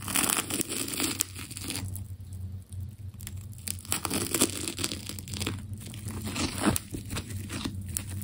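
A metal scalpel blade cuts into a partly carved solid ball of striped, wound plastic tape and peels off its layers. Dense, crackling tearing and crinkling bursts come in uneven clusters, with bright, sharp snaps over a steady low hum. The tape strips away in a continuous run of peeling and cutting.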